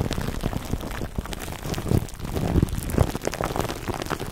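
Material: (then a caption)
Plastic film. Clear plastic cling wrap stretched over a black foam microphone windscreen is cupped in both hands while fingertips rub and squeeze the film. The result is a dense, close, bassy crinkling and crackling that patters like rain, with heavier swells of rustle through the middle and end.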